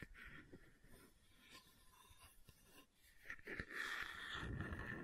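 A hollow red plastic water bottle with a red screw lid is tapped and scratched with fingertips and nails close to the microphone. Soft, quick taps blend with dry scratching and grow louder and brighter toward the end.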